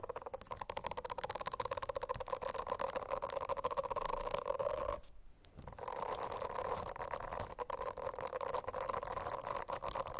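Long acrylic nails scratch across a rainbow silicone notebook cover covered in small bristle nubs, lying flat. The scratching is a dense, steady rasp with a buzzy mid-range tone. It breaks off for about half a second partway through, then resumes.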